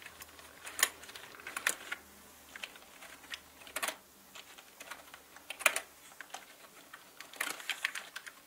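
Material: Plastic.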